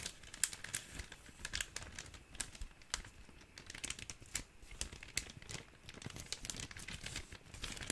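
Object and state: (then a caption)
Thin plastic zip bag being crinkled. An empty, thin clear plastic zip-top bag is crinkled and folded with the fingers, producing a steady run of bright, crisp crackles and rustles. Sharp snaps rise above a quiet, hissy bed and fade almost instantly.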